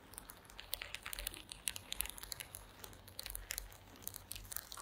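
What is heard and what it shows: Long green acrylic nails scratch across the slats of a woven wooden slat mat. The result is a quiet run of dry, crackly, bright clicks and scrapes in quick uneven bursts, each stopping dead, over a soft low rumble.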